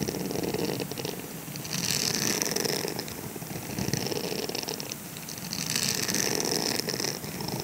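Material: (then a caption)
Silicone. Fingertips and nails scratch the circular bristle pattern of a grey silicone scrubber sponge held in the palm. The result is a fast, bristly scratching with a bright, hissy top that swells louder in waves and then eases back.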